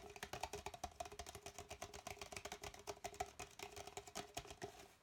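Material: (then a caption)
Plastic. Fingernails rapidly tap and scratch the outer wall of an empty, hollow red plastic party cup held with its opening toward the camera. A dense run of quick, dry clicks and scrapes carries a faint hollow ring in the mid range, with bright scratchy texture on top. Each tap dies away almost at once.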